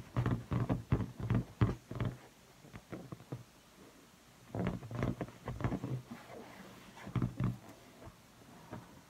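Fingertips and long painted nails tap and rub the taut latex of a blue inflated rubber balloon, hollow and air-filled, held by the neck near the camera. Quick bursts of soft, hollow, low thumps come in irregular clusters, separated by quieter stretches of faint rubbing.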